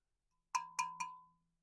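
A vintage LeMond carbon fiber bicycle fork, sanded through its paint and clear coat to bare black carbon, is tapped three times. Each tap gives a clear ding centered near 1 kHz that fades within about a second. The ding does not sound like metal, matching the carbon fiber confirmed by the sanding.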